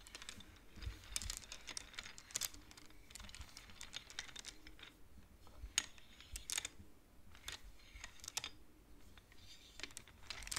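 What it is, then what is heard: Wooden abacus beads. Long nails tap and slide the painted wooden beads of a wooden abacus. The result is a quiet, irregular stream of short, dry, bright clicks with a few sharper taps standing out, each dying away almost instantly.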